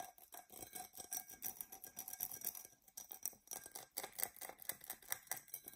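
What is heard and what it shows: Long nails scratch the sides and base of an empty, hollow, dark purple embossed tinted glass tumbler. A rapid series of short, bright, scratchy strokes fills the clip, with a faint ringing tone underneath and almost no low end.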